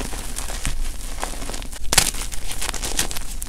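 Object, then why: Magnesium carbonate gym chalk block. Fingers dig into a powdery pile of gym chalk blocks (magnesium carbonate) and crush small solid pieces while one hand holds a chalk chunk. The result is a steady run of gritty, crackling crunches with soft rustling between them. The loudest, brightest snap comes about two seconds in.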